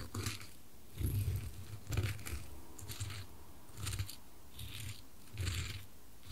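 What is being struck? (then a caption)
Wooden cube on wooden coasters. A small solid dark-wood cube is rolled and knocked by a white-gloved finger onto square light-wood coasters, alternating between the two. It makes soft, low wooden taps and knocks with brief bright clicky edges over a quiet background.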